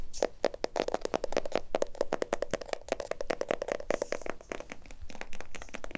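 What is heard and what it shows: A small glass jar filled with white contents and topped with a gold lid is held close to the mic and tapped rapidly on the glass and lid with fingertips and nails. A fast stream of crisp, short clicks and taps with a mid-pitched glassy tone keeps up steadily throughout, with a brighter ticking texture toward the end.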